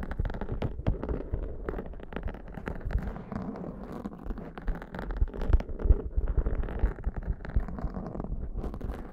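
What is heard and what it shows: Long nails on both hands scratch and rub the sides and top of a black foam windscreen on a Zoom microphone. The result is a dense, irregular run of crackling, rustling scrapes, heavy in low rumble with brief sharp ticks and little ring.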